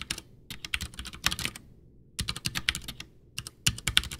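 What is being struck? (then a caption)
Plastic mechanical keyboard. Both hands type with their fingertips on a full-size, backlit, white plastic Ducky One 2 mechanical keyboard with Cherry MX Brown switches and a hollow case, resting on a desk. The result is quick runs of bright, short, clacky keystrokes that stop dead, broken by brief pauses between bursts.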